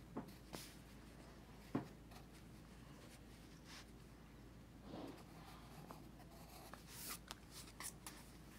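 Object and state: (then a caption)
Pencil scratching on sketchbook paper. A pencil tip scratches across a paper sketchbook page resting on a teal folder while the other hand holds the page flat. Short, soft, papery scratches with bright edges come and go over a steady low hum, each fading almost at once. The overall sound stays quiet and close.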